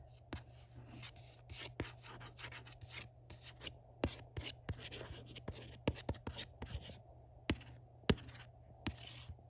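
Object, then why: Glossy printed cardboard box. A fingertip scratches and rubs the flat front panel of a Star Trek: The Next Generation box set, a hollow, glossy printed cardboard box. Short, uneven bursts of dry, bright scratching alternate with sharp little taps and clicks. A steady low hum runs underneath throughout.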